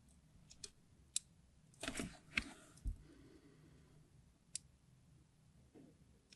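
A craft knife blade scratches and carves parallel lines into the surface of a solid red translucent hard soap bar held in the hand. Seven short, crisp clicks and scraping bursts stand out over a faint low background, with a brief rougher scrape near the two-second mark and bright, high ticks that die away almost at once.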